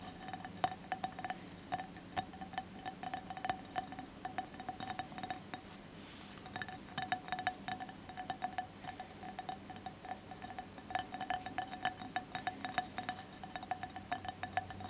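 Fingertips and nails of both hands tap rapidly on the sides of a cylindrical glass jar candle holder covered in textured, colored mosaic glass, with a lit candle inside. The result is a steady, quiet patter of short, bright glassy clinks with a faint ring around 750 Hz that dies away almost instantly.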